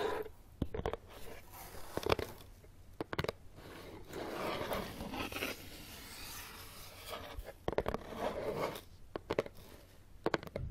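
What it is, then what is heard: Cardboard box. Fingertips tap and scratch the top of a closed, hollow brown corrugated cardboard box resting on carpet. Quick clusters of sharp, dry taps ring off almost instantly, and between them come softer scratchy, papery rasps that swell and fade across the top surface. A hollow body resonance sits low under the taps.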